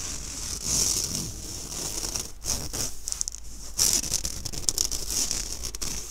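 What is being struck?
Fine-mesh stainless steel sieve.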